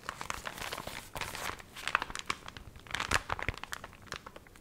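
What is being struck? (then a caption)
Paper booklet. Small water-wrinkled paper recipe booklet, dried and wavy, its pages riffled and crinkled with fingers and nails. Dense, dry crinkling and crackling with sharp bright snaps scattered throughout, heard close up and quiet.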